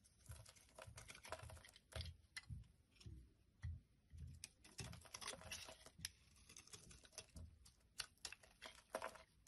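A solid dark blue soap bar held in the hand is shaved and scraped with a metal blade. It makes quiet, crisp scraping and crackling strokes with bright, sharp edges and soft low thumps underneath, coming in short irregular bursts.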